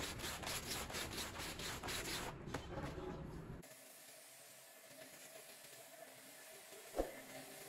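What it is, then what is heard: Wet pile rug being scrubbed. A green push broom on a long handle scrubs a small, wet, foamy, bear-shaped pile rug with quick rhythmic rasping strokes, bright and broadband. After about three and a half seconds the scrubbing stops, leaving a quieter soft fizzing hiss. A single sharp tap sounds near the end.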